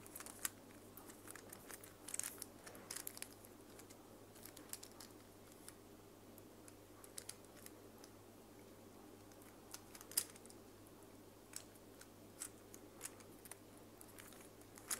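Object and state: Plastic infinity cube fidget toy.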